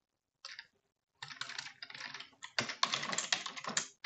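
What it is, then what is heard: Plastic computer keyboard being typed on. A full-size dark plastic computer keyboard is typed on quickly with long French-manicured nails and fingertips. After a brief silence, a short flurry of bright, clicky key taps sounds, then a dense, irregular stream of rapid tapping continues to the end.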